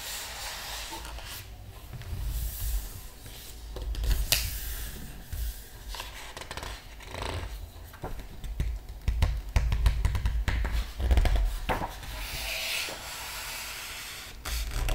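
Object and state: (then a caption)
Glossy paper book pages rubbed and turned. A flat palm and fingertips rub across the glossy paper pages of a large open art book, making soft swishing and scratchy friction over a low rumble. Sharp papery crackles and bright rustles follow as a page is lifted and turned.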